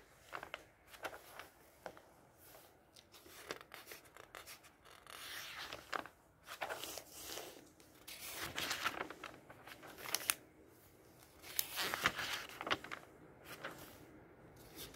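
A flat hand slides and rubs across the pages of an open glossy paper catalog on a table, then fingers turn a glossy page. Soft, bright rubbing swells alternate with sharp, crisp paper snaps and rustles at an irregular pace, with little low end.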